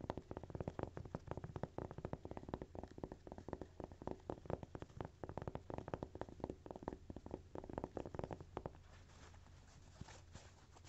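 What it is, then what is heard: Cork coaster. Fingernails tap and scratch the textured surface of a single thin, solid, toast-shaped cork coaster held in the hands. Quick, dry, muted taps come in rapid uneven bursts over a faint low hum. Near the end they give way to a softer, steady scratching.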